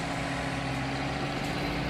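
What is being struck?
Nothing is struck.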